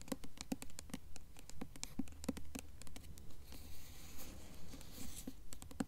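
Long nails tap and scratch across the glossy paper dust jacket of a blue Mockingjay hardcover book held upright. Quick, fairly steady soft taps with a dull low thump alternate with a stretch of breathy scratching in the middle. The sound is quiet and close, with each tap dying away almost instantly.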